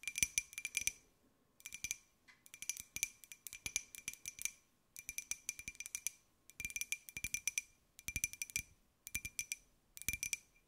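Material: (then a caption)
Glazed ceramic. Long nails rapidly tap a small, hollow white glazed ceramic jar with a pineapple print held in the hands. The taps come in quick, bright clicky bursts separated by short pauses, each tap ringing with a high, glassy tone that dies away almost instantly.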